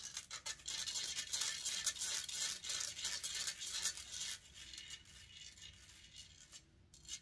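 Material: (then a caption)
Metal mesh. Long nails scratch steadily across the hollow metal mesh grille of a silver condenser microphone. A rapid run of bright, rasping strokes rises and falls, then turns fainter and sparser for the last few seconds.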